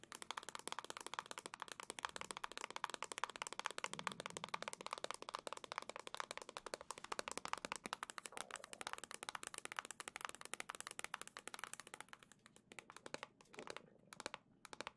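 Long nails tap rapidly and continuously on a hollow black plastic Nintendo Switch dock held in the hand, making crisp, bright clicks with almost no low end and very little ring. The taps stay dense and steady, then thin out into sparser clicks near the end.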